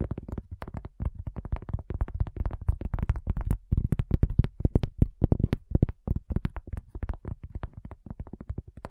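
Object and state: Cork coaster.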